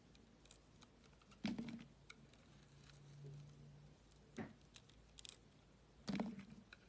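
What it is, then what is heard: Bar soap being cut and scraped with a blade. A utility knife blade cuts and scrapes a solid green and white striped bar of soap held in the hand. Quiet, crisp scraping and crumbly ticks run throughout, with three louder, fuller cuts standing out, and a faint low hum underneath in the middle.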